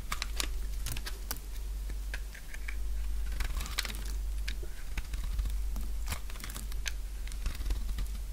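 A purple bar of dry solid soap, held in the hand, is scraped and shaved with a utility knife blade. Quick, crisp, crunchy cuts follow one another in a dense run over a steady low hum.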